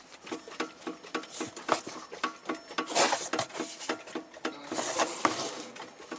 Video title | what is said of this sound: Skoda Octavia A-7, Octavia III глухой стук в передней подвеске . Замена стойки стабилизатора. | глуховатый стук и он именно в нижнем шару стойки стабилизатора